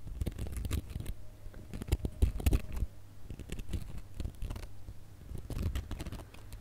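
A gold glitter plastic star ornament with a bow is scratched with fingernails across its coarse glitter. The result is a dense run of quick, rough, irregular scratching strokes, mostly low and thumpy with only faint bright crackle, briefly swelling louder around the middle.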